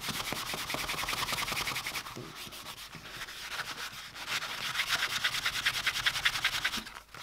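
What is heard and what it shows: A hand holds a small, flat, empty dark-brown leather bifold wallet with white stitching down on a cutting mat while the other hand rubs its surface with a white cloth. Fast, steady back-and-forth strokes make a bright, dry swishing friction that eases slightly in the middle and then picks up again.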